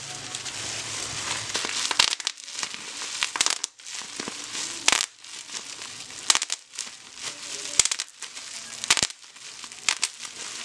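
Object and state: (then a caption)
Plastic bubble wrap. A thin, light, air-filled sheet of clear plastic bubble wrap is pressed flat over a packaged box with the fingertips, then gathered up and scrunched between both hands. The result is a steady bright crinkling with almost no low end, broken by many sharp, short crackles and snaps.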